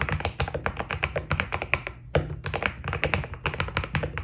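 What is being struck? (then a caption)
Mechanical keyboard with PBT keycaps. Fast fingertip typing with both hands on a white Keydous NJ80 mechanical keyboard with PBT keycaps. It makes a rapid, steady stream of short, dry clacks, each with a low thock and a brighter click that dies away almost instantly. The typing briefly thins out just before 2 seconds, then resumes with a sharper keystroke.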